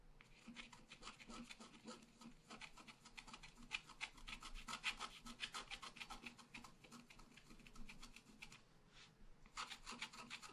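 A wooden stylus scratches the flowers on the right of a thin scratch art paper sheet lying flat. It makes quick, dry, raspy strokes at about three to four per second, bright and hissy, with a brief lull near the nine-second mark before the scratching resumes.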